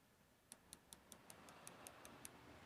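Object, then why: Aluminium gimbal arm. A part of a Zhiyun Smooth Q2 gimbal is tapped with a piece of metal to check whether it is aluminium or plastic. Ten short, bright metallic ticks ring briefly over a quiet background. The part turns out to be aluminium as well.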